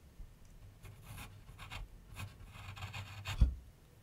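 A graphite pencil scratches continuous sketch strokes across a medium white canvas/paper board on a wooden easel. Soft, airy scratching comes in repeated bursts over a low rumble, with a brief louder thump near the end before the sound fades.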